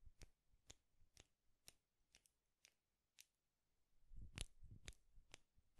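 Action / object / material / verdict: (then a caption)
tap / small wooden clothes pins / wood / none. Two small wooden clothes pins, held by the fingertips and crossed, are clicked and rubbed against each other, giving eleven quiet, sharp, bright clicks at an uneven pace. Toward the end a soft, low rubbing scrape runs under the clicks.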